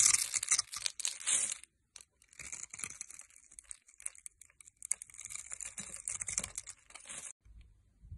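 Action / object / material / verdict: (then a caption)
scrape / bar of soap cut with a metal blade / soap / none. A metal blade cuts a grid into a solid rectangular green bar of soap held in the hand, then scrapes off small cubes. Bright, dry crackling and scraping comes in irregular bursts, broken by brief silences near 1.7 and 7.4 seconds.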